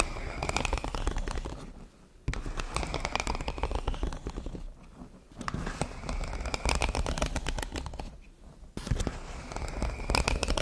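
An empty yellow ribbed, hollow corrugated plastic pop tube fidget toy is held in both hands, stretched and bent so its ribs pop, and scratched with long blue paper nails. Dense bursts of crackling pops and scraping ride over a low rumble, broken by brief quiet pauses around two, five and eight and a half seconds before the crackling resumes.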